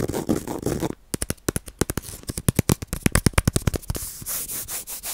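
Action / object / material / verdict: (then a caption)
scrape / bamboo-sheath baren (woodblock printing pad) / bamboo sheath / none. A round bamboo-sheath baren, a woodblock printing pad, is held close to a microphone and rubbed and scratched with fingertips and nails across its fibrous surface and edge. A second of dense, scratchy rubbing gives way to a quick run of sharp, dry, low-bodied clicks and scrapes. It ends in softer swelling rubs with a bright hiss.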